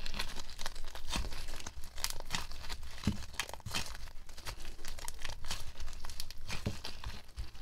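A small lump of soft, sticky, solid white slime with pink specks is squeezed, kneaded and pressed by fingers in pink nitrile gloves over a white table. It makes a steady stream of close, crinkly crackles and sharp sticky pops, with an occasional stronger snap standing out.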